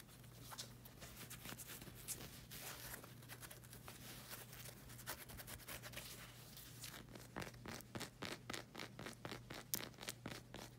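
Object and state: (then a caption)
Rubber slide sandal sole. Long red acrylic nails scratch the strap and black rubber sole of a flag-print slide sandal, producing bright, papery scratching over a faint steady low hum. The first seven seconds are a dense, continuous rasp, then it turns into quick, separate scratch strokes in a loose rhythm until the end.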